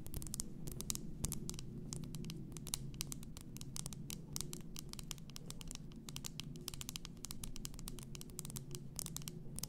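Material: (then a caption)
Glass. Long nails tap and scratch on the upper glass, above the label, of an upright, full glass bath salt bottle. Rapid, bright clicks and scratchy strokes come in a dense, steady stream, each dying away almost instantly, over a constant low hum around 130 Hz.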